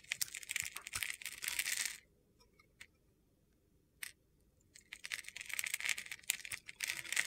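A box-cutter blade scrapes and slices flakes off a palm-sized solid white soap bar with a silver glitter crust, held in hand. Dense, crisp, gritty scraping fills the first two seconds, then a near-silent pause broken by a few sharp ticks. The crunchy shaving resumes in bursts for the final two and a half seconds.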